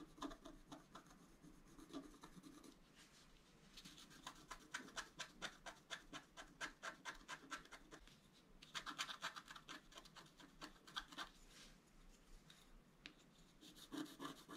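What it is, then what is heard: Scratch art card being scraped. A wooden stylus scratches flower shapes near the antlers on a flat, black-coated scratch art card. Quiet, crisp, bright scratching strokes come in quick, uneven bursts separated by short pauses, each stroke dry and short with no ring.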